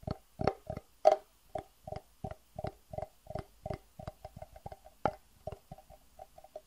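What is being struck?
Acrylic plastic box.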